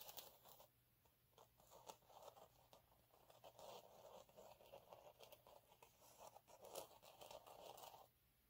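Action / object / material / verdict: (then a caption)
scrape / fine glitter sheet / glitter sheet / none. Fingernails scrape and scratch across the ribbed surface of a flat, fine gold glitter sheet lying on a dark cloth. The result is a quiet, dry, crinkly rasping with a midrange body and a bright, hissy top. It runs in quick, uneven strokes for about eight seconds, then stops.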